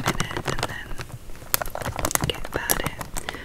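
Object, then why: Plastic film snack bag. A plastic-film Twiglets snack bag, full of snacks and lying flat, is tapped and crinkled with long acrylic nails. Rapid, irregular clicky taps mix with bright crackling crinkles across the 3.5 seconds.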